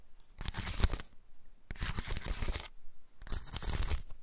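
A large, dry, woody pine cone with open scales is held in both hands while fingertips and nails scratch and rub along its scales. Three bursts of dry, crackly, bright scratching are separated by short quiet gaps.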